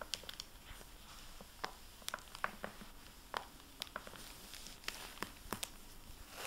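A dry microfiber cloth, held in fingers with painted nails, rubs and wipes the plastic-covered dust jacket of a hardcover library book, *Freedom*, lying on a wooden table. The result is a quiet, steady rustle with scattered sharp, bright crinkles and crackles that die away almost instantly.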